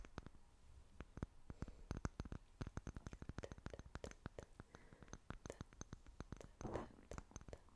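Long fingernails tap and scratch quickly on a small, clear, seemingly empty glass jar. The result is a rapid run of dozens of quiet, dry clicks with a low, muted thump and almost no ring, and a brief rougher scratching swell near the end.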